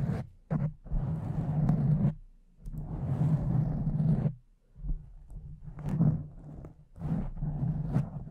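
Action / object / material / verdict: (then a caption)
scrape / foam microphone windscreen / foam / none. Long nails and fingertips of both hands scratch and rub a pink foam windscreen over a condenser microphone. The result is dense, low, muffled scratching and rustling in bursts of rubbing separated by short pauses, with a few sharper scrapes reaching bright.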